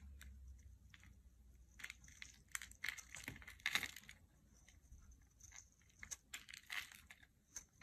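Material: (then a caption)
Soap. A small knife blade scrapes and carves thin curls and flakes off a solid rectangular gray soap bar with a molded dotted top and a gold foil label, held in one hand over carpet. Quiet, bright, crisp scraping and crunchy shaving sounds come in short irregular bursts, with a few louder strokes in the middle and near the end.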